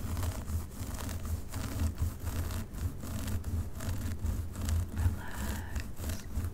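Long pink nails on both hands scratch and rake down from the top through a dark synthetic wig on a mannequin head. The result is a steady, soft, low rustling scrape with repeated stroke-by-stroke swells and faint bright crackles.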